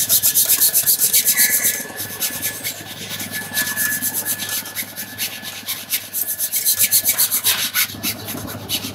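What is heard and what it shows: A shoeshiner buffs the leather upper of a red patent-look leather slingback high-heeled shoe with a cloth held in his hand, while the shoe is worn on a foot resting on a shoeshine stand. Quick, steady back-and-forth rubbing strokes make a bright, airy hiss that eases into softer polishing through the middle, then grows brisk and loud again near the end.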